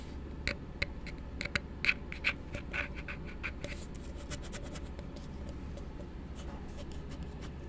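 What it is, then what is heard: Plastic cup tapped and rubbed. An empty, hollow blue plastic tumbler held upside down is tapped and rubbed with the fingertips. Sharp, bright clicking taps with a brief hollow ring come first, then give way to softer scratchy rubbing over a steady low background hum.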